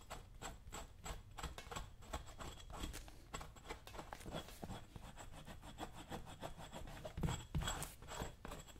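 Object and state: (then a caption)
Leather work boot being scraped. A dull metal chisel is scraped and rubbed over the toe leather of a brown leather work boot worn on a foot. It makes quick, uneven rasping strokes, roughly three per second, with a dry, low-heavy texture and faint bright scratchy edges that die away instantly.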